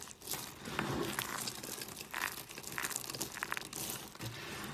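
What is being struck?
Soap shavings crushed by hand.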